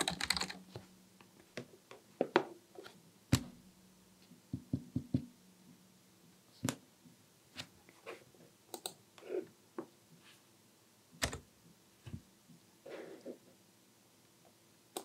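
Fingertips tap the keys of a Dell KB1421 full-size black plastic membrane keyboard with a hollow housing, resting on a white desk, possibly with mouse clicks mixed in. Quiet, irregular typing produces short, dry clacks with a hollow low-mid body around 355 Hz, plus occasional brighter clicks that die away almost instantly.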